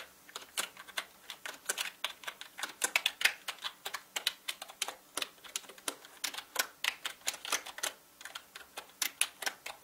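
Fingertips type fast on a full-size black mechanical gaming keyboard with plastic keycaps and a hollow body. About 45 sharp, bright, clicky keystrokes come in a rapid, uneven run, each ending almost instantly with no low thump beneath.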